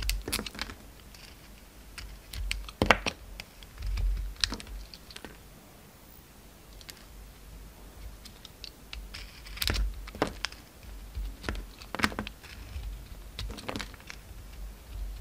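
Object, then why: Bar of soap. A utility knife blade shaves and scrapes a solid pink bar of soap with a gold glitter coating, held in the hand. Short, crisp scraping and clicking strokes come in irregular bursts, each with a bright edge and a quick, dry decay. A faint low rumble sits underneath.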